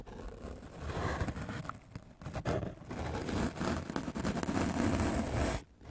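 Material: Melamine foam.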